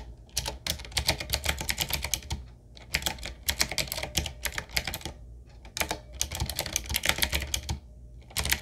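Fingertips of both hands type continuously on a 7Keys retro typewriter-style mechanical keyboard with round black plastic keycaps on a wood-trimmed frame. The result is rapid bursts of bright, crisp clicks over a soft low thump, with brief pauses between runs and each keystroke dying away almost instantly.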